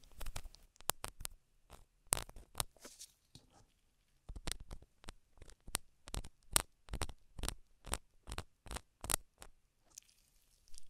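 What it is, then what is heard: Silicone rubber ear scraped with a wooden stick. A gloved hand scrapes the concha and canal entrance of a black, solid silicone rubber binaural microphone ear, mounted on a microphone housing, with a long thin wooden stick. The result is a close, steady series of short, dry, crackly scratches, each bright and broadband with no ring, separated by brief quiet gaps. A faint high hiss lingers at the end.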